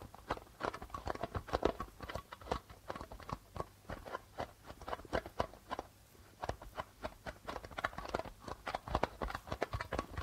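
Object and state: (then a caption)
Plastic-headed darbuka drum. Fingertips and nails tap rapidly on the white plastic membrane of a hollow darbuka drum. The result is a steady patter of short, dry, hollow-sounding taps centred in the midrange, each dying away almost instantly. The rhythm is uneven, with louder and softer strikes and a brief quieter stretch partway through.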